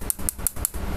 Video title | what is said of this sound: RESTORASI NOKIA E61i -- RESTORE PHONE NOKIA E61i | casing ini besi nih. Ini saya ketok-ketok ya, tuh besi babet